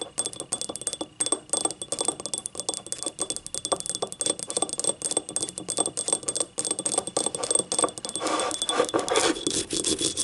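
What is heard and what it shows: Long nails rapidly tap and scratch the rim and ribbed sides of a small, hollow, empty yellow ribbed ceramic cup. The result is a busy stream of short, bright clicks with a faint high ringing tone, and the scratching grows denser and more continuous near the end.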